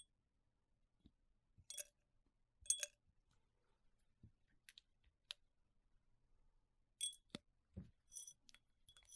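Gloved fingertips tap and clink on the wall of a tall, hollow, clear drinking glass held in a gloved hand; the glass is empty apart from a little residue. The clip has quiet, bright, high glassy clinks with very short ring, scattered among faint soft taps and low thuds.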